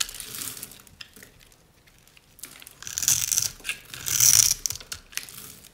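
A solid beige rectangular bar of dried soap is held in one hand while the fingertips and nails of the other hand scrape and crumble off its pre-scored grid of small cubes, with a piece of yellow cutter blade resting on the bar at the start. Dry, bright crunching and scratchy crackles come in irregular bursts, building to louder crumbling near the end.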